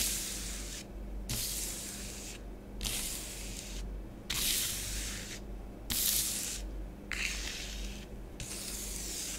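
Long nails drag parallel lines through orange bath bomb powder spread on a grey plastic tray. The result is a series of bright, hissy scratching and rubbing strokes separated by short pauses, over a faint low hum.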